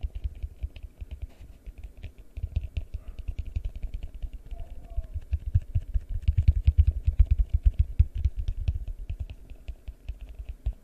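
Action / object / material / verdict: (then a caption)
tap / large plastic bowl, held upside down / plastic / none. A large, hollow, empty yellow translucent plastic bowl is held upside down over a microphone and tapped with the fingertips. The result is a fast, uneven stream of deep, muffled thumps with very short decay, carrying a faint bright clicky edge. The tapping grows denser and louder in the middle of the clip.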